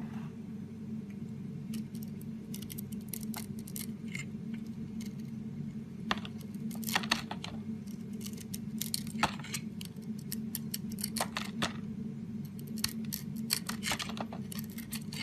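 A metal utility blade scrapes chips off the edge of a round, solid soap puck with a purple glitter surface, held in the hand. Short, crisp, bright scraping strokes come in irregular bursts over a steady low hum, some strokes sharper and louder than others.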